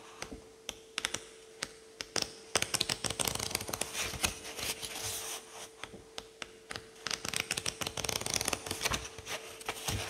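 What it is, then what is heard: Paperback book pages riffled. A thumb riffles quickly through the many thin paper pages of a paperback book in a continuous run. The pages flutter with bright, crisp ticks and papery rustle, denser and louder in the middle and again near the end, over a faint steady low hum.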